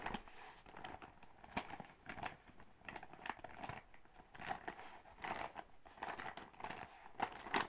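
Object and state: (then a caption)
Faux-leather makeup pouch. Long acrylic nails tap and scratch a soft, likely partly filled silver metallic faux-leather zippered makeup bag. The result is a dense run of quick, dry crinkling taps and scratchy rustles, centered in the midrange with some brighter edges. Each hit dies away almost at once.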